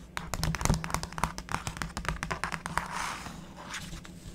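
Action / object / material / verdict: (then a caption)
scrape / black-coated scratch art card / coated card / none. A stylus scratches the black coating of a scratch art board (black-coated card), making a quick run of sharp, dry scratching clicks over a low steady hum. Long-nailed fingers then rest on and rub the surface, giving a softer, breathy brushing hiss to the end.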